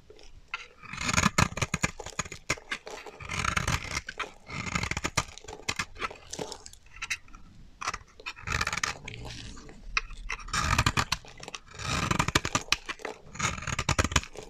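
A solid, dry white bar of soap held in the hand is scraped with a metal utility knife blade, shaving off powdery flakes. Repeated bursts of dry, crunchy scraping run throughout, each with a low body and a bright, gritty top.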